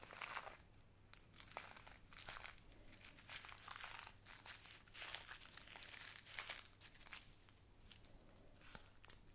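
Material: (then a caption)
Plastic. A small clear plastic bag with a white cardboard header, full of tiny pink glass seed beads, is held in both hands and crinkled and squeezed with long painted nails and fingertips. Quiet, dense crinkling and crunching rises and falls in bright bursts, with a faint steady low hum underneath.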